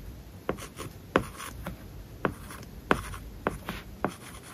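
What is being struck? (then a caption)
Plastic stylus on tablet screen with matte plastic film. A hard plastic stylus tip is drawn across an iPad lying flat, its glass screen covered with a matte, paper-like plastic film, while writing English words and Japanese characters. Soft, continuous scratching is punctuated by short, sharp tap strokes at an uneven pace, each brief with almost no ring, over a quiet, steady background.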